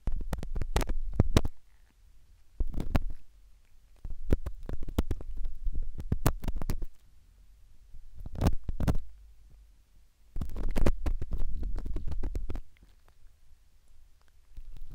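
A thin metal earpick held in fingertips is inserted into the canal of a silicone ear microphone and scraped inside it. The result is bursts of dull, muffled scratching and clicking, heavy in deep low rumble, with short quiet gaps between bursts.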